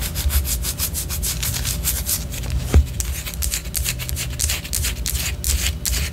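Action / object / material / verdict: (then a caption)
scrape / wax pillar candle / wax / none. Long orange nails scratch and tap a white solid wax pillar candle, making a steady run of quick, bright scratching strokes over a low, dull rumble. One sharper tap stands out near the middle before the rhythmic scraping continues to the end.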